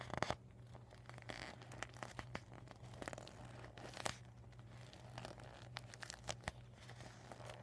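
Fingers squeeze and crinkle a rolled, deflated vinyl beach ball with marker writing on it while nails scratch the plastic. Sharp, bright crinkles and scratchy ticks pop out irregularly over a quiet, steady low hum, each one dying away almost instantly.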